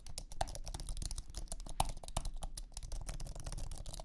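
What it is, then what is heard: Aluminum and plastic low-profile keyboard being typed on. Fingertips type rapidly on a thin, low-profile iMac keyboard with an aluminum base and white plastic scissor keys. The result is a steady stream of soft, quick clicks and taps, each one dying away at once over a low, muffled thud.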